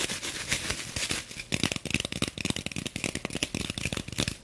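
A block of green floral foam in clear plastic wrap, held upright, is tapped and scratched with long nails. The first seconds carry a continuous bright scratching hiss, followed by a fast run of crisp, dry taps and crinkly scrapes with bright plastic rustle.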